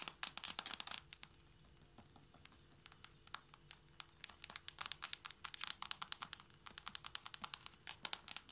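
Long manicured fingernails of both hands tap quickly on hardwood floorboards in front of a purple knit cushion. The result is bursts of crisp, bright clicks with almost no ring, easing into a quieter stretch of lighter taps before the rapid clicking builds again.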